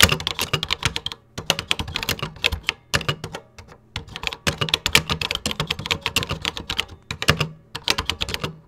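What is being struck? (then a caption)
Plastic computer keyboard keys. Fingertips type rapidly on a vintage 1986 Tandy Color Computer 2 keyboard with cream plastic keycaps, a red key and a hollow plastic housing. Fast bursts of bright, dry plastic clacks with a faint low thump die away almost instantly. Brief pauses fall near 1.3 s, between about 3.3 and 4 s, and near 7 s.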